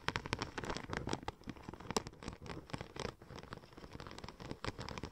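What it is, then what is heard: Checker plate vinyl wrap sheet. Long nails scratch and tap rapidly across the embossed tread of a curved silver checker-plate-pattern vinyl wrap sheet. The result is a quiet, dense patter of short, dry clicks and crinkly scrapes with no ringing.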